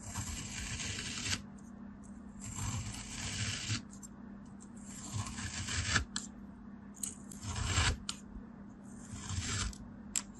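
A craft knife blade slices repeatedly through a solid molded beige kinetic sand dome resting on a blue surface. Each cut makes a bright, grainy hiss and crumbly scrape, with short pauses between strokes. A faint steady low hum runs underneath.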